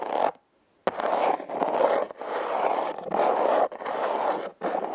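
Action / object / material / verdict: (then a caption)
scrape / corrugated cardboard box / cardboard / none. Long red nails scratch across the ribbed surface of a hollow, red, heart-shaped corrugated cardboard box. The result is a steady, raspy scraping centered in the midrange, broken by short pauses, including a near-silent gap near the start.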